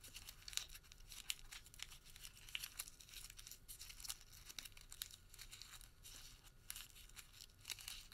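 A white thermal paper receipt is crumpled small in the fingertips, then partly unfolded and stretched between both hands. A quiet, steady stream of bright, crisp crinkles and sharp crackles runs throughout, with very little low end and short snaps that die away almost at once.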